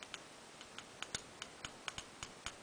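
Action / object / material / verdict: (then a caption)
tap / chrome-plated plastic toy wing pieces / chrome-plated plastic / none. Chrome-plated plastic wing pieces from a toy figure are tapped together about a dozen times, each tap a short, bright click with a slight high ting, a little different from plain plastic. The ting reflects the harder chrome shell on the parts.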